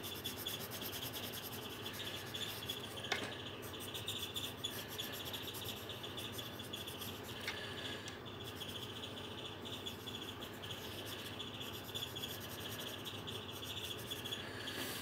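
A coloured pencil held in the fingertips rubs back and forth over the thin paper page of an open colouring book on a table. The result is a quiet, steady, bright scratchy rubbing with a faint high whine underneath. One sharper tick stands out near the three-second mark.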